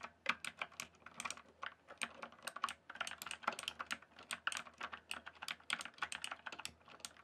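Fingertips type and tap on a rainbow-backlit mechanical keyboard with plastic keycaps, producing a quick, uneven stream of sharp, bright clacks. Each keystroke is short and dry, dying away almost instantly, and the typing continues steadily throughout.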